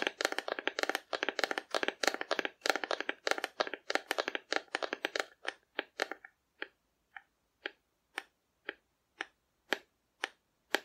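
Long nails tap on a hollow painted cardboard dinosaur figure held horizontally, making rapid, dense clusters of dry, crisp clicks for about six seconds. The taps then slow to single, evenly spaced knocks. Each tap has a hollow, papery midrange tone with a bright edge and almost no ring.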